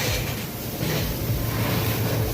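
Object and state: Nothing is struck.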